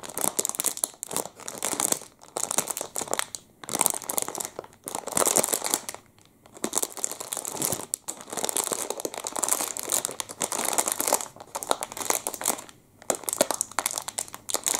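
A full clear plastic wrapper around a Double Chocolate muffin is crinkled with the fingertips. Bright, crackling crinkles come in bursts with short pauses, almost no low end, and quick dry snaps that stop at once.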